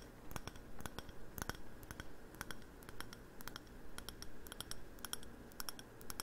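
A hollow navy glossy ceramic candle jar with a wooden lid is held in the hands and tapped and clicked with fingernails on its glazed surface. The result is a quick, irregular stream of short, bright clicks that die away almost instantly, over a soft low rumble.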